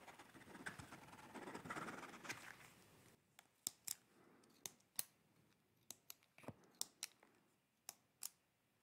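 A pencil makes scratching sketch strokes across the paper page of a hard-backed paper sketchbook held up in one hand. For about three seconds there is a soft, continuous scratchy rustle, then it turns into separate short, sharp, bright strokes with quiet gaps between them. The whole clip is quiet.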